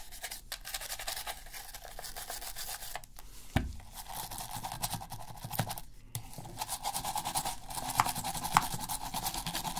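A toothbrush scratches and scrubs around the analog sticks and buttons of a black hollow plastic PS3 controller held in a gloved hand. The bristles make dense, bright, raspy scratching with a steady midrange tone, broken by a few sharper clicks and knocks against the plastic.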